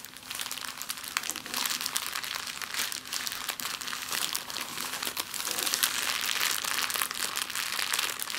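A small, thin, empty clear plastic bag is crumpled into a ball with both hands, long nails, on a wooden table. It gives off a dense, continuous, bright crinkling with sharp crackles and almost no low end, rising and falling in loudness for the whole clip.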